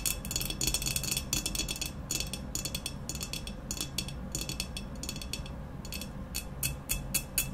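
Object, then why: Ceramic vase. Long nails rapidly tap and scratch the sides of an upright, hollow, black textured ceramic vase. The sound is a fast stream of bright, clicky taps mixed with scratchy rustling, each tap dying away almost at once. A steady low rumble runs underneath throughout.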